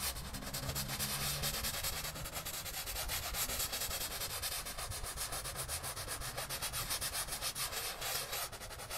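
A gloved person kneels and scrubs a small, flat, wet, soapy pile rug with a small handheld brush in back-and-forth rubbing strokes. The sound is a continuous, bright, scratchy bristle rasp with rapid, uneven stroke pulses and a faint low hum underneath at the start.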